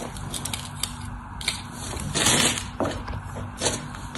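A solid white bar of soap held in the hand is carved and scored with a craft knife, shavings falling away. Quiet, crackly scraping and sharp little cuts with bright hiss, plus a longer, louder scrape in the middle, over a faint steady low hum.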